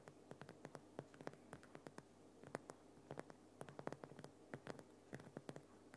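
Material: Rock salt.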